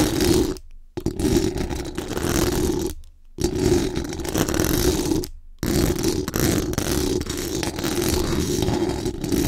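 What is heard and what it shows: Very long acrylic nails scratch fast across the hollow metal mesh dome grille of a large condenser microphone. The result is a dense, raspy, close-up scraping with a strong hollow tone around 360 Hz and some bright hiss. It runs in four continuous bursts separated by three brief silent pauses.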